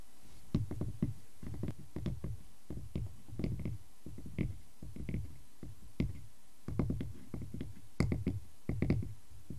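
Fingernails scratch the bark edge of a solid, round tree-trunk slice with visible growth rings, then fingertips tap and scratch its cut face. The result is a steady run of soft, dull, low knocks that die away quickly, mixed with brief bright scratchy clicks over a faint hiss.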